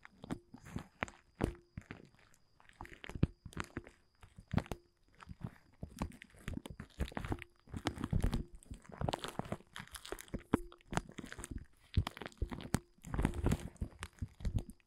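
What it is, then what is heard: Woven plastic tarp. Fingertips scratch and crinkle the surface of a large, thin, dark blue woven polyethylene tent groundsheet. Dense bursts of dry, crackly rustling and scratching come in uneven clusters, with sharp, short snaps over a soft, low-weighted body of sound.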